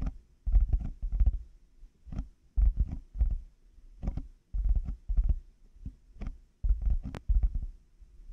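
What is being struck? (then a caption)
Plastic headphone earcups. Fingertips and nails tap the hollow plastic earcup shells of black over-ear headphones fitted on a 3Dio microphone. Quick clusters of dull, low, hollow knocks come in irregular bursts with short pauses between them, and each tap dies away almost at once.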